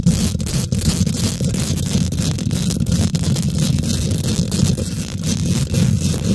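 Long nails and fingertips of both hands quickly scratch and tap the domed, hollow woven metal mesh grille of a large silver condenser microphone. A dense, continuous low rumble of thuds around 130 Hz dominates, with fast bright scratchy streaks flickering over it. The level stays steady throughout.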